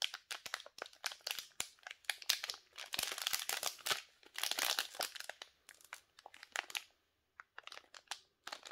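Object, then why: Soap bar in plastic wrapper. A small, solid Nivea soap bar in a sealed white and blue plastic wrapper is picked up and turned in black-gloved hands. The wrapper crinkles and rubs in a dense run of bright, crackly bursts with almost no low end. It falls quiet briefly near the end before a few more crinkles.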